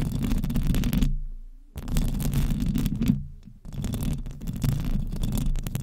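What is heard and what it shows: Long nails on both hands continuously scratch the hollow metal mesh grille of a large silver condenser microphone. The result is a dense, rumbling low scratching with a faint rasp on top, broken by two brief pauses where the sound fades out before the scratching resumes.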